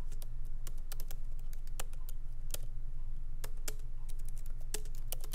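Fingertips of both hands lightly type on a MacBook Pro laptop keyboard with black plastic keycaps in an aluminum body, resting on a wooden desk. Quick, uneven, crisp key clicks with bright edges patter steadily over a constant low hum.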